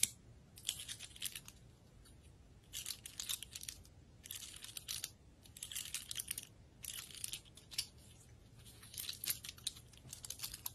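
A large dry brown pine cone with woody scales is held in the hand and scratched and tapped along its scales with long red acrylic nails. Bursts of bright, crackly scratching alternate with short pauses, and the dense clicks of nails catching on the scales die away almost instantly.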